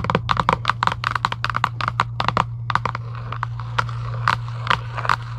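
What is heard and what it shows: Long acrylic nails scratch quickly across a hollow Giant UNO cardboard game box lying flat. The result is a rapid, uneven run of short, dry scraping bursts with a papery mid-range rasp and bright edges, over a steady low hum.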